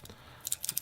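A beads-of-rice steel bracelet on a Dificiano Marlin dive watch, thinner and more flexible with small links tapering to an 18 mm clasp, is shaken to let the clasp's mass be heard. After a quiet start, a quick burst of bright, high metallic clicks and jingles rattles out. The bracelet and clasp sound solid rather than tinny.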